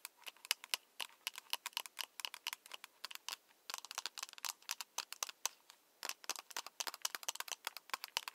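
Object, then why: Plastic LED light stick tube. Long nails and fingertips tap along the long, hollow, translucent plastic tube of a lit, battery-powered LED glow/penlight stick with a wrist strap, held in the other hand. The result is a quick, irregular stream of dozens of sharp, bright, dry clicks with almost no ring and no low end. Brief pauses fall around the middle and just after six seconds.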